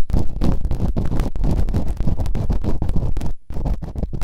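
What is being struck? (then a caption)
Silicone ear microphone scraped with bamboo earpicks. Bamboo earpicks held in fingertips with long nails quickly scratch and rub inside the open canals of both solid, rubbery, soft silicone ear models on a white binaural microphone. The result is a dense, deep, muffled rumbling scrape of rapid, continuous strokes with almost no brightness, broken by a brief near-silent gap before it resumes.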